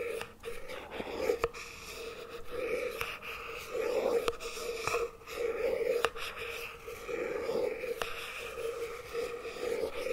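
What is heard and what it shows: A wooden chopstick tip taps and scratches the lid of a small round plastic tub of NOVI chocolate spread, held in one hand as it lies on its side, apparently full and sealed. Soft, steady scraping with a hollow tone around 460 Hz is broken by scattered sharp, short clicks from the taps.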